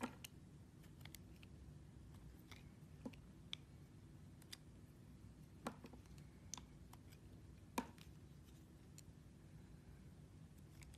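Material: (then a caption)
Soap. A small metal carving knife with a green handle cuts and scrapes a solid, translucent red glycerin soap carved into a figure and held in the hands. Quiet scattered clicks and soft scraping ticks sit over a low steady hum, with a few sharper, brighter snaps standing out.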